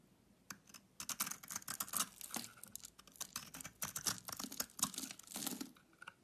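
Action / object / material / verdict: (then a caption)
scrape / bar of soap scraped with a blade / soap / none. A utility knife blade scrapes a solid pink-centered Lux bar soap held in the hand. It makes a quiet run of crisp, bright rasping scrapes in quick irregular bursts, each dying away almost at once with little low end.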